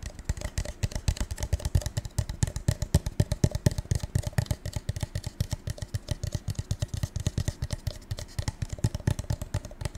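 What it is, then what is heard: Metallic-coated paper cup. A gold metallic paper cup is tapped rapidly and steadily, giving a dense stream of short, dull, low-pitched taps. Each tap dies away almost instantly, with faint crisp clicks on top.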